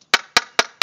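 A pocket knife taps four times on a fiberglass-skinned panel with a honeycomb core during a tap test. Each tap gives a short, bright, sharp click that dies away almost immediately, the sound of fiberglass that is properly bonded to the core.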